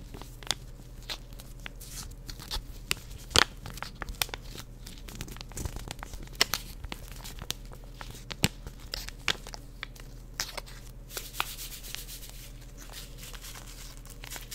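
A full Swiss Miss hot chocolate packet, a small flat single-serve paper/foil sachet of powder, is held in both hands and crinkled, rubbed and scratched with long painted nails. Crisp, bright crinkles and sharp scratchy ticks come in quick, scattered bursts over a quiet, steady low hum.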